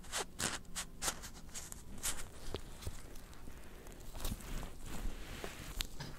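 Fingertips in black nitrile gloves tap rapidly on a small, long, closed, hollow white cardboard Apple Pencil box, probably still shrink-wrapped, first held upright and then lying flat on a white blanket. The taps are quick, dry and short, with bright crinkly clicks over a soft low thud and almost no ring.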